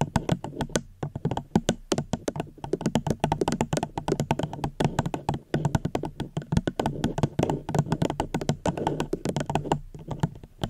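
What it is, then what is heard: Plastic cup. Fingers gently tap a plastic cup held close to a microphone in a quick, steady stream. Each tap is a short, dull, hollow knock with a low tone around 156 Hz and very little brightness, dying away almost instantly. The taps continue evenly for about eleven seconds, with only brief pauses.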